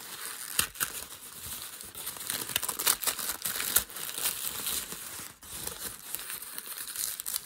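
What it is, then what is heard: Crumpled packing paper. Fingers pinch and scrunch a piece of crumpled thin grey packing paper on a desk. A steady, bright crinkling rustle fills the clip with almost no low end, broken by sharper crackling snaps that stand out above it.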